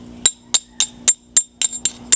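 A kiln-fired clay Christmas ornament is tapped eight times, each tap giving a short, bright, glassy clink high in pitch that dies away quickly. Fired clay rings like glass, unlike unfired dry clay.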